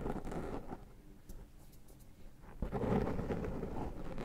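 Fingertips pick cat hair off a soft, porous black foam windscreen over the capsule of a Zoom H6 microphone and rub its surface. The close contact makes a low, muffled rumbling rustle that dips quieter in the middle, then swells into louder, denser scratchy rubbing for the rest of the clip.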